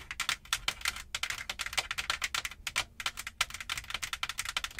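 Long nails tap and scratch with both hands across the padded, soft-backed light fabric headliner above the windshield of a Jeep. About thirty quick, dry, crisp taps and scrapes are heard, bright and high with almost no low end, each dying away almost instantly.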